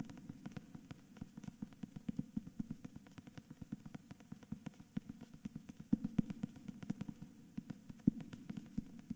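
Fingertips quickly tap and scratch the glossy paper front cover of a hardcover book with a paper dust jacket, held at an angle. Dozens of short, dry taps come in a fast, uneven run, with a soft low thud and a faint papery scratch between them. Each tap stops dead with no ring.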